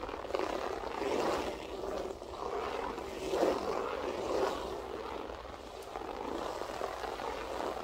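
Long acrylic French-tip nails on both hands scratch a flat beige loop-pile carpet with a textured loop pile. The result is a steady, dense midrange scratching rustle that swells and eases in waves, with a few brief louder peaks.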